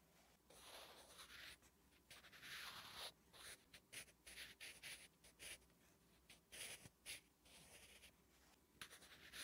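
A wooden graphite pencil writes Korean letters on a flat, solid lined paper notebook page, giving bright, dry scratching strokes. Short bursts of hiss start and stop as each stroke is drawn, with quiet pauses in between.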